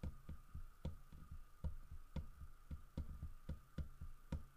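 Fingertips and nails tap the carved fur on the back of a large, solid carved wooden bear figurine. A quiet, fairly regular series of short, dull low knocks with brief clicky tops sounds over a faint steady hum.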